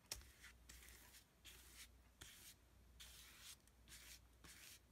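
A wide, flat synthetic brush is rubbed in repeated horizontal strokes across a flat, thick sheet of heavy painting paper layered with dark and white paint. Each stroke makes a soft, bright, hissing swish, with a faint low rumble underneath. The strokes come and go at a quiet, steady rhythm.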